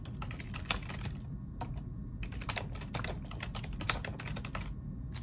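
Both hands type with their fingertips on a black plastic ergonomic computer keyboard. Quick, bright key clicks patter in an irregular stream over a steady low rumble, with a couple of sharper, louder clacks standing out.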